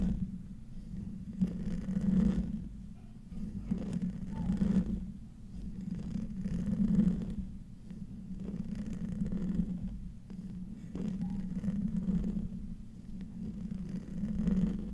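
The fingernails of both hands scratch the hollow metal mesh grille of a silver microphone up close. The result is a muffled, low rumbling scrape that swells and fades in slow, uneven waves every few seconds, with almost no high-frequency content.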